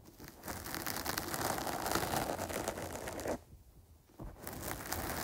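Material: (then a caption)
Foam. Long nails scratch across a dark porous foam windscreen over a microphone, held in both hands. A dense, scratchy crackle of rapid strokes runs steadily with bright hiss and a low rumble, then drops to near silence for under a second before resuming.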